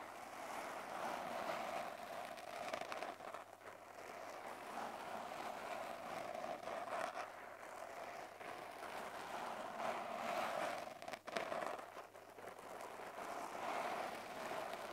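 Fingertips with short lilac nails on both hands scratch and rub a small, soft, porous black polyurethane foam windscreen on a handheld recorder. The result is a steady, quiet, close-up scratching and rustling texture centered in the midrange, with gentle swells and a few brief dips throughout.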